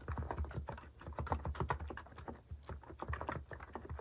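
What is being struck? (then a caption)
Plastic mechanical keyboard. Fingertips type rapidly on a compact white plastic mechanical keyboard (a Hanmumu) fitted with cat keycaps. The result is a dense, steady stream of short, deep, muffled clacks that stop quickly, with little brightness on top.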